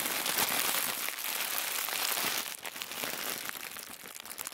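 A crumpled bundle of thin white tissue paper is held in both hands and crinkled and squeezed with the fingertips and thumbs. It makes a dense, bright, steady crackle for the first couple of seconds, then drops to softer, sparser crinkles with scattered sharper snaps.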